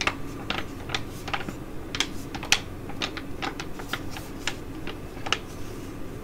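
A filled tea-tree foil sheet mask pouch is crinkled and scratched with long nails, ending with it lying flat on the table while being scratched. Sharp, bright crackles and ticks sound in quick irregular bursts over a steady low rustling bed, with each snap dying away almost instantly.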